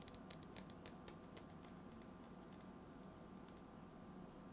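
A hand-sized, hollow cylindrical metal tin with a white lid is held close to the microphone while fingertips tap and scratch the lid. Quick, light, bright ticks cluster in the first two seconds, then thin to a soft scratching patter. All of it stays quiet over a steady low hum.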